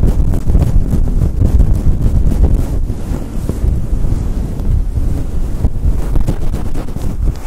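A fluffy grey and white synthetic fur windscreen fitted over a Blue Yeti microphone is rubbed fast with the fingers and long nails. It produces a steady, dense, muffled rumble concentrated in the deep lows, with rapid scratchy swishes that swell and dip throughout.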